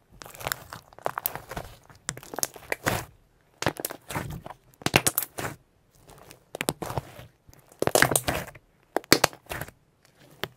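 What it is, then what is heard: Slime being stretched and pressed. A sheet of soft purple shimmer pearl slime is stretched by hand, then folded and pressed with fingertips on a white surface. It gives off bursts of crisp, bright crackling and popping, separated by brief quiet gaps.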